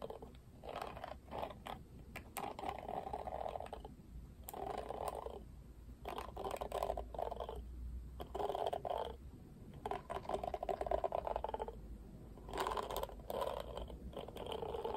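A plastic paddle hairbrush held bristles-up as fingertips and nails brush and scratch across its plastic pin bristles. The result is bursts of dry, crackly scratching centred in the mid range, separated by short pauses, over a faint low hum.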